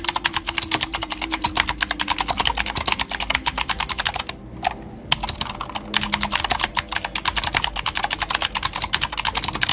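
A full-size white Glorious GMMK White Ice mechanical keyboard with plastic keycaps and clicky Gateron Blue switches is typed on rapidly with the fingertips of both hands. Dozens of sharp, bright clicks follow in quick succession, with a brief lull just before the midpoint before the fast typing resumes.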